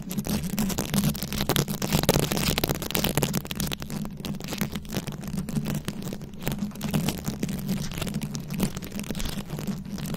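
Long acrylic nails scratch and tap across a fist-sized microphone head fully covered in small glued-on rhinestones and beads. The result is a dense, continuous crackle of short, bright clicks and rasps over a steady low hum.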